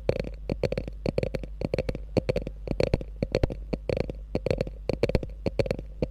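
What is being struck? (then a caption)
Quilted faux leather handbag. Long nails scratch and tap rapidly along the top edge of a small, hollow, beige chevron-quilted faux leather mini bag. The result is a quick, irregular run of short, dry clicks and soft thuds with a muted midrange body, over a steady low hum. Each tap dies away almost instantly.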